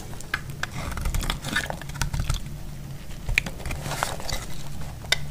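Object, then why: Bar of soap cut with a metal blade. A solid, dry orange bar of soap held in the hand is scraped and shaved with a metal utility-knife blade, and the shavings fall onto a cloth. Dense, crisp scraping strokes with sharp, bright clicks ride over a steady low rumble.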